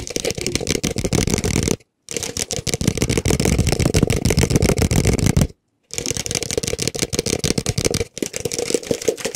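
Fingertips and nails rapidly tap and scratch the outside and open rim of a small, hollow, empty white plastic cup held close to the mic. The dense, irregular clicks and scrapes have a hollow low body and a bright, scratchy top, with two brief silent breaks.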